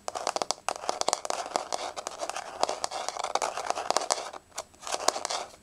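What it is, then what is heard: Laminate floor, solid. Long nails tap rapidly on a solid, flat wood-grain laminate floor, making dense, dry, crisp clicks with a crinkly, scratchy edge. The sound sits in the mid and bright range with no low thump, and each tap dies away at once. The taps come in quick bursts with a few brief pauses between them.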